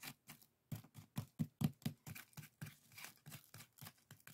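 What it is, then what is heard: Woven bamboo strainer. Fingertips and nails scratch and tap a pair of small, hollow, empty woven split-bamboo bokjori strainers resting on a table. It makes a quick, irregular run of soft, dry taps and scratches, each with a low hollow thump and a bright rustling edge that dies away almost at once.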